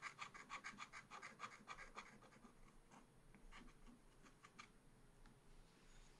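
A pointed wooden stylus scratches and hatches across a black coated scratch art paper page in a small spiral pad. Quick, rhythmic rasping strokes come first, then sparser, softer scratches. The strokes have a dry, bright texture centered around 1 to 2 kHz.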